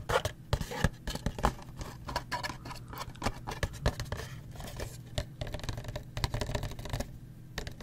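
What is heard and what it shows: A small printed cardboard Gulf Wax box holding paraffin wax blocks is held in the hands and tapped quickly on its sides with the fingertips and nails. The result is a rapid, uneven patter of short, dry, hollow taps with scratchy clicks from the nails.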